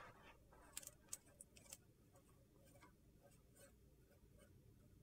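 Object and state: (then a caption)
Large soap slab being scratched. Long painted fingernails scratch and rub across a large, flat, rectangular slab of solid soap with a rainbow-coloured surface. Five sharp, high-pitched nail clicks sound within the first two seconds, then a quiet, gritty scraping hiss continues to the end.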